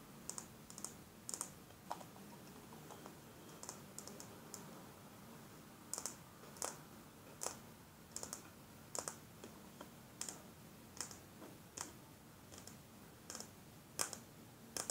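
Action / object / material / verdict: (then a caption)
tap / small glass perfume bottle / glass / none. Long fingernails tap a small square glass perfume bottle with a black flower-shaped cap, partly filled with blue liquid and held in the hand. The taps are sharp, bright clicks that come at an uneven pace and die away almost at once, over a quiet low background hum.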